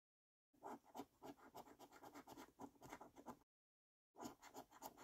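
A coin rapidly scratches the latex number rows of a thin yellow £500 Loaded paper scratchcard held flat. Quick, dry, raspy scraping strokes come in an uneven rhythm, mostly in the low-mid range, in two bursts separated by a short silent pause.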